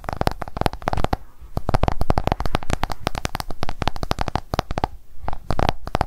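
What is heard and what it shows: An iPhone is held flat while its glass screen is tapped rapidly with long acrylic nail tips. The result is a fast, dense stream of short, dry clicking taps with a low, thuddy body and almost no ring after each hit.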